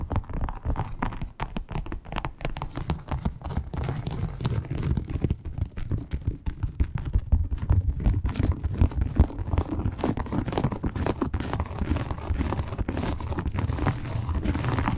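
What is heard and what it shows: Long pointed acrylic nails scratch quickly across a flat red croc-embossed leather wallet lying on a table. The result is a dense, dull, low rustling texture of rapid, uneven scratches with almost no bright edge, holding steady and slightly intensifying throughout.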